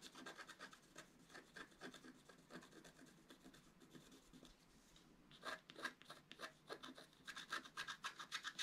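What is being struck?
Wax-coated scratch-art paper card.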